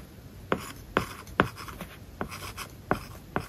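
A hard plastic stylus tip writes on an iPad lying flat, its glass screen covered with a matte, paper-like plastic film. Soft scratchy strokes alternate with short, crisp taps at an uneven pace. Each tap dies away almost instantly.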